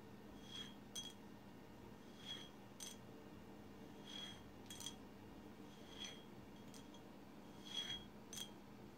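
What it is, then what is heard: Glass bottle tapped with fingernails. Long silver acrylic nails on both hands tap and scratch the surface of a tall swirl-painted glass bottle resting on a placemat. Faint, bright clicking taps ring briefly with a glassy tone around 3.3 kHz, scattered irregularly over a steady low background hum.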